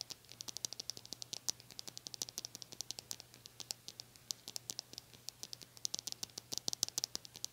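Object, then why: Plastic bristle brush. Long nails scratch and strum the stiff white plastic bristles of a small blue-handled brush, producing a rapid, uneven stream of about 60 quiet, sharp, crisp ticks and flicks. The sound is bright and high-pitched, concentrated well above 2 kHz, with almost no low end. Each tick dies away instantly, leaving a soft, faint hiss between strokes.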